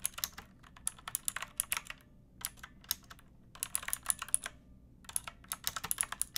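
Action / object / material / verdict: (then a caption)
tap / plastic mechanical keyboard with round keycaps / plastic / none. Long nails and fingertips type on a backlit pink mechanical keyboard with round plastic keycaps and a hollow plastic case. Quick, bright, clicky keystrokes come in bursts separated by short pauses, and each tap dies away almost instantly.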